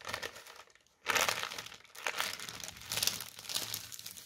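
Fingertips and short nails tap and scratch a sheet of white tissue paper folded into a flat strip and lying on a table. Bright, dry crinkling and rustling fill the clip, with a brief near-silent pause just before one second. A louder crackling burst follows, then steady crinkles to the end.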